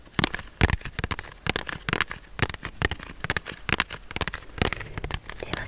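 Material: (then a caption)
Cardboard. A small printed cardboard tarot deck box, apparently holding its cards, is held in one hand and tapped and rubbed with the fingertips close to the mic. Quick, irregular dry taps and crackly scratches follow one another, each with a soft low thump and a bright papery edge that dies away almost instantly.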